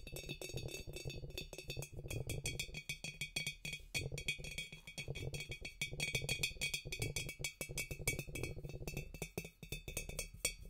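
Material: Glass.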